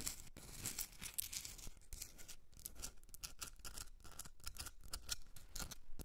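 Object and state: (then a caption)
Himalayan salt candle holder. Long red nails scratch and tap a hand-sized Himalayan salt rock candle holder, a solid pink rock salt block with a rough crystalline surface. The result is a quiet, rapid run of dry, bright scratching bursts and short taps with no ring after them.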